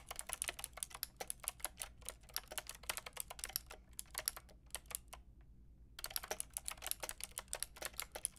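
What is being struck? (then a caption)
Plastic mechanical keyboard with round keycaps. A white and pink Lofree mechanical keyboard with round plastic keycaps is typed on with long painted nails and fingertips. Rapid, bright, short clacky taps follow one another steadily, pausing near 5 to 6 seconds before the typing resumes.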